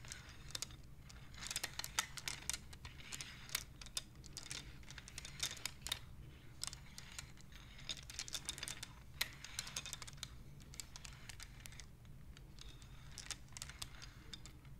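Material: Wood.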